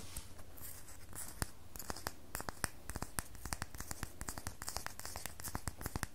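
A solid red bar of soap is scratched and carved with long fingernails, leaving soap shavings on the table. Many short, crisp scraping clicks ring out in quick, irregular succession over a low steady hum. The clicks are sharp and dry with almost no ring.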